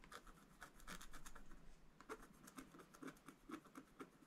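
A wooden stylus, held upright, scratches the ship area of a black-coated scratch-art paper page while the other hand rests on the left page. Quiet, dry scratching strokes with a bright hiss come at about four per second, dense and blended at first, then separating into distinct short scrapes with little ring.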